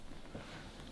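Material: Nothing is struck.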